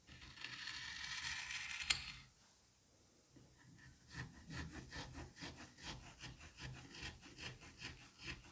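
A thin blade on a white handle slices vertically through a solid, sliced mound of green kinetic sand with a crumbly cutting and scraping action. A steady bright, hissy scrape for about two seconds ends in a sharp click, followed by a near-silent pause. Then a run of quick, rhythmic scraping strokes, each with a soft low thud beneath the bright grainy rasp.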